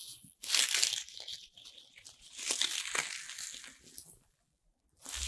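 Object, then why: Corn starch foam packing pieces. Handfuls of small, light, colorful corn starch foam playcorn pieces are held in both palms while fingertips with long red nails rub, squeeze and let them rattle, and a few pieces drop. The result is a dry, bright, crinkly rustling and crunching, with louder bursts early on and midway, a brief near-silence, then the rustling starting again at the end.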